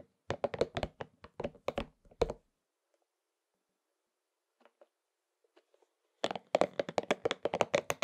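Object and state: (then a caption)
Rubber spiky massage ball. A pink and purple soft rubber spiky massage ball is held in both hands while fingertips rub and scratch across its spikes. The result is a rapid run of short, dry, mid-pitched clicks and scratches with a little bright edge. After a quiet stretch with only a few faint ticks, a denser flurry starts again.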